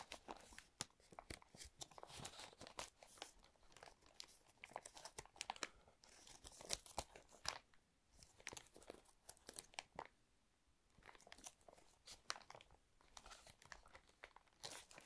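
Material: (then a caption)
Plastic. Fingertips crinkle, rub and flex a small, thin, flexible, clear plastic sleeve used as harp string packaging, flat and hollow, held above a woven box of string packets. The result is a dense run of quiet, bright, crackly crinkles with sharp snapping bursts. The sound eases into brief softer lulls before picking up again.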